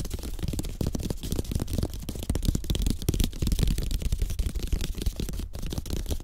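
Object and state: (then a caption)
Bamboo slat placemat. Fingertips and short nails of both hands rapidly tap and scratch a placemat of thin bamboo slats bound with string, lying flat on a table. The result is a dense, continuous stream of quick, dry clicks and scratchy rustling over a soft, low thudding body, with each tap dying away almost instantly.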